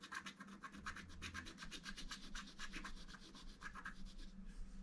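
A wooden stylus rubs and scratches the lower centre of a flat black-coated scratch art card in quick, repeated strokes. Each stroke makes a short, bright scraping burst, forming a steady rhythmic rasp over a faint low hum.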